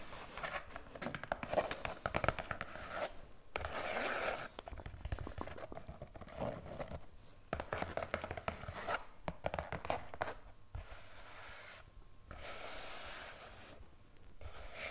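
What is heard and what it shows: An empty-looking green-and-white striped polyester fabric peg bag, soft and hollow, is held in the hands and scratched and rubbed with long painted nails. It makes dense, crinkly scratching and rasping bursts that come and go over the clip, with brief quieter gaps between them.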